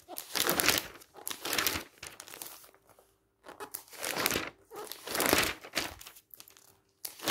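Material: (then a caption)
Glossy paper. A hand flips the pages of a thick, glossy paper magazine lying open, fast and aggressively, making them flutter. Bursts of bright, crinkly, papery rustling and flapping come in quick waves, with short quiet gaps between them.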